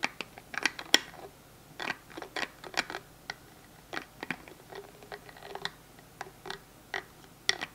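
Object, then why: Small plastic hand gel bottle with flip cap. A small translucent plastic hand sanitizer gel bottle is held in the hands while fingers repeatedly flip its plastic cap open and shut. About 18 sharp, bright clicks and snaps sound at irregular intervals, each dying away almost instantly over a quiet background.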